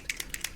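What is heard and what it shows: A new plastic dropper bottle of Army Painter Fanatic metallic acrylic miniature paint in greedy gold is shaken, and its mixing ball rattles freely right away in four quick, bright, high-pitched clicks. The free rattle shows the paint is thinner than the non-metallic paints, which is confirmed when it dribbles thinly from the nozzle.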